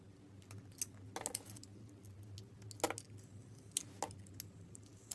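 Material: Soap.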